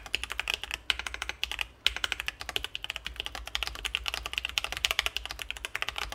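Both hands type steadily with their fingertips on a Sesame Ergo split ergonomic mechanical keyboard with C3 Kiwi switches, an acrylic case and plastic keycaps, resting on a desk mat. About fifty short, bright clacks peak near 3 kHz and die away almost instantly, with very little low end. The rhythm pauses briefly just before the first and second seconds.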